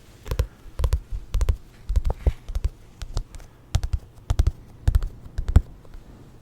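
Quick, dull taps on Volume 1 of a Jujutsu Kaisen paperback manga come in irregular clusters of two or three. Each tap is a short, low, muffled knock that stops almost instantly with no ring.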